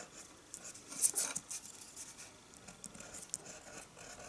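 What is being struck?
Colored pencil on a sheet of drawing paper.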